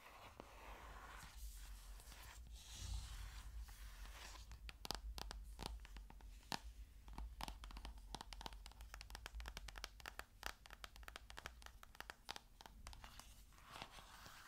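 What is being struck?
Paper-covered hardcover book.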